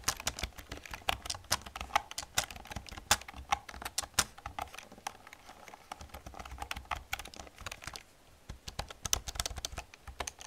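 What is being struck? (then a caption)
Plastic computer keyboard. Fingertips and long nails type on an old black plastic computer keyboard, producing a steady run of sharp, bright clicks and clacks with a short pause near the eight-second mark. Each keystroke is crisp and dies away almost instantly, with little low-end thump.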